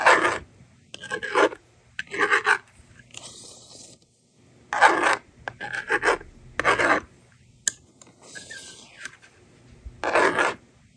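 A yellow plastic stylus, held in a hand with long red nails, scratches numbers onto the honeycomb screen of a small handheld plastic magnetic doodle board with a blue and pink frame, held in one hand. Short, bright, raspy scratching bursts come in quick strokes separated by pauses. Softer, smoother scraping passes follow as the board is erased with its slider.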